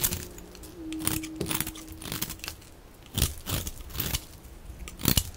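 A metal utility blade scrapes a hand-sized bar of dry white-yellow soap with a blue outer rim, held in the hand, shaving off crumbly flakes. Short, dry, crunchy scraping bursts come in uneven strokes, each with a bright, brittle crackle over a soft low background.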